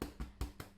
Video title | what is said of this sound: How to make the best loaf of bread ever! | it's going to sound hollow